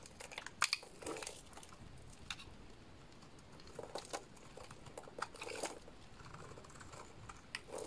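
A solid purple-and-white striped Dalan bar soap is held in the hands while a small blade cuts chunky flakes off it. The result is a series of quiet, crisp, dry scraping and crunching cuts with bright, brief clicks that do not ring out, spaced irregularly over a soft background.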